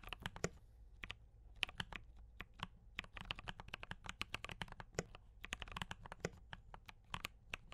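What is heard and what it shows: Fingertips of both hands type steadily on a D84 mechanical keyboard with brown switches and cream and red plastic keycaps. The result is a fast, irregular run of short, dry, bright clacks with a soft low thock under each press, and almost no ring between keystrokes.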